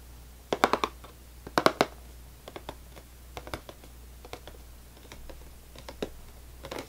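Fingernails tap and scratch the top and front face of a full cardboard saltine cracker box. Quick clusters of dry, papery taps stand out, mixed with fainter scratches and irregular lighter ticks over a steady low hum. The sound ends on a brief scratchy rustle.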